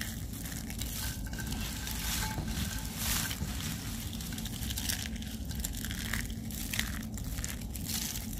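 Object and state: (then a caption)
Dry soap curls being crushed. A pile of finely broken, dry pale-green soap curls in a white tray is squeezed and crumbled between the fingertips and fists of both hands. It makes a steady, dense crunching and crinkling with a heavy low rustle underneath and bright crackling bursts throughout.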